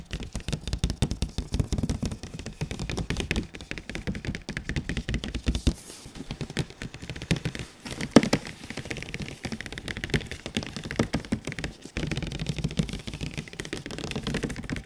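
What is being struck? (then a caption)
Printed cardboard box. Fingertips and palms tap and knock on the glossy surfaces of a large printed cardboard console box. A continuous stream of rapid, dry, short taps with a hollow low-mid body fills the clip, broken by brief pauses and one sharper knock near the middle.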